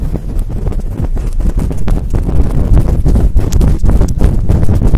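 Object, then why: Synthetic-fur microphone windscreen. Fingertips and long nails rapidly rub and scratch a large, fluffy synthetic-fur microphone windscreen held in both hands. The result is a loud, continuous, muffled rumbling with a deep, boomy low end and fast, irregular scratchy bursts that never fully drop away.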